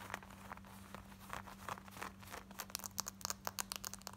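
Long white painted nails scratch quickly around the zip fly and waistband of light-wash distressed cotton denim jeans, worn on the body with a ripped patch on the thigh. Dry, bright scratching rasps come in rapid bursts that grow sharper and denser toward the end, over a faint steady low hum.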